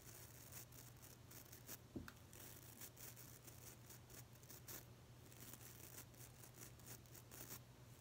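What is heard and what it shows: A fingernail scratches and flicks the stiff white nylon bristles of a small pink plastic nail brush. Soft, bright, papery scratches and flicks repeat throughout at a quiet level over a steady low hum. One sharper click stands out near the two-second mark.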